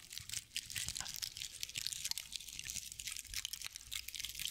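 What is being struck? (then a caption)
Straw owl figurine. A hand-sized decorative owl figurine made of dry straw or sisal-like fibers is held in both hands while long nails scratch and rub its fibrous body. The result is a steady run of dense, crunchy crinkles and quick dry scrapes, almost all bright high-frequency texture with very little low end.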